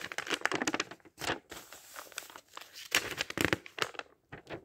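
Fingertips flip and rub the thin printed paper pages of a thick open dictionary in steady page turning. Soft, bright crinkling and rustling come in quick bursts with brief quiet gaps, with almost no low end and no ring after each turn.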